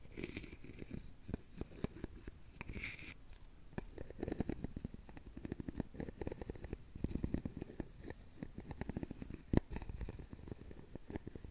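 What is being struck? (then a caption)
Openwork carved wooden box. A wooden stick is scraped along the side of a round, hollow, openwork carved wooden jewelry box. The result is a soft, dense run of quick clicks and rasps with a low, hollow rumble underneath. A few sharper ticks stand out near the end.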